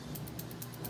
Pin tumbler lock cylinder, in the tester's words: you can hear that rattle in here what that means what that tells me is there are some chambers in here that have no springs in them